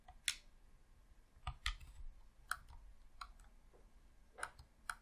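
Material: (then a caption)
Plastic. Fingertips with short nails press and click the buttons and D-pad of a hollow red plastic Xbox controller. Seven short, sharp, bright clicks sound at irregular intervals over a quiet background, each dying away almost instantly.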